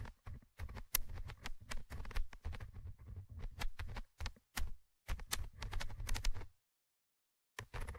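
A thin orange stick scratches the small metal mesh microphone grille of a Tascam handheld recorder, producing close, rough scraping bursts. The bursts are heavy in low rumble with bright, crackly ticks, separated by short pauses, then a silent gap before the scratching briefly returns at the end.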